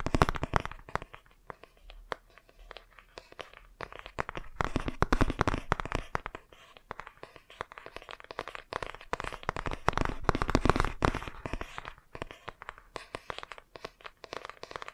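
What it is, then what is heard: Cardboard board book. Fingertips and nails tap and scratch the glossy front cover of a laminated cardboard board book held upright. Dense, irregular bursts of quick dry clicks and scrapes swell and fade across the clip, with a soft low thud under the taps and little ring after each one.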